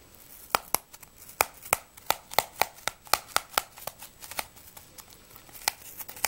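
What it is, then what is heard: Apple tapped with nails. A whole, solid yellow-red apple is held in the hands and tapped and scratched with long nails. It makes a fast, irregular run of about seventeen sharp, dry, bright clicks with almost no ring, over soft scratchy rustling between them.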